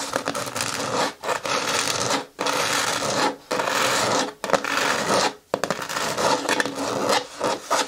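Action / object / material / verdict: scrape / hard plastic bin with lid / hard plastic / none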